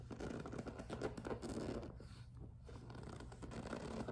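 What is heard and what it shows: Long nails tap and scratch the top edge of a hollow, medium-sized pink and clear PVC vinyl two-tier cosmetic case resting on a table. The result is a dense run of quick, dry scratching and tapping with a soft, low hollow body. It eases briefly in the middle, then picks back up.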